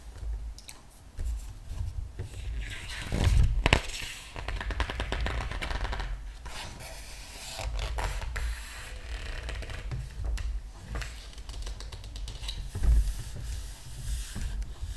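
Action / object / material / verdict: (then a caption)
scrape / paper art book / glossy paper / none. Fingertips rub the glossy paper pages of a large open art book, with both hands resting on the paper, making a steady scratchy, papery rubbing over a low rumble. A page is flipped over with louder crinkling swishes near the start and again near the end.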